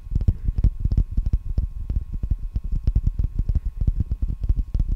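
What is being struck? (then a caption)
Plastic packing tape roll on a cardboard core. A wide roll of clear plastic packing tape, a hollow ring on a cardboard core, is held in both hands and tapped with the fingertips and nails around its outer surface. The result is a rapid, continuous series of short, dull, low thuds centred near 78 Hz that die away almost at once, with faint bright clicks on some of the strikes.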